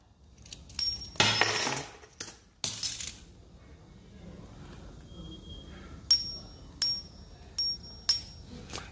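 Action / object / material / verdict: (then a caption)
strike / plated copper coin / copper / fake. Several heirloom silver dollars are struck and rung one after another, each giving a bright, very high-pitched metallic ping that fades within about half a second, with a longer rattling clatter near the start. The ring "floats" and echoes back instead of sinking the way real silver does, and worn spots show yellow copper under the rubbed-off plating, so the coins are fake: silver-plated copper, not silver.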